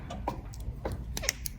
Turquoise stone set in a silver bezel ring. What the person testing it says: This one I tap it and you can't hear anything. So I know that stone is nice and secure.